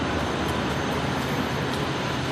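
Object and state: Nothing is struck.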